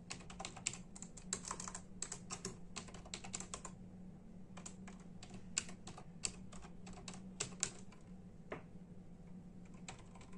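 Bare fingertips of both hands type in a steady tapping on a full-size black and silver plastic membrane keyboard with hollow keys. Quick, bright, hollow clacks come in bursts with short pauses, each dying away almost at once. A steady low hum runs underneath throughout.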